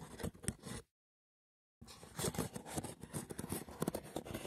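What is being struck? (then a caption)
Woven seagrass wicker box. Fingertips and short nails rapidly tap and scratch the woven top of a hollow, braided seagrass wicker box, making dense, dry, rustling scrapes with quick soft taps. The sound stops briefly for about a second of silence, then resumes as a busier, continuous stretch of crackly scratching and tapping.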